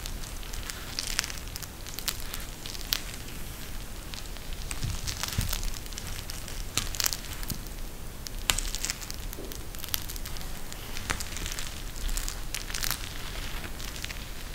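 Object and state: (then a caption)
Gel bead eye mask. A pink eye mask with fabric trim and a clear plastic shell filled with gel beads is held in both hands and squeezed by the fingers. The result is a steady, dense crackling with bright, sharp clicks and a soft low rustle underneath for the whole clip.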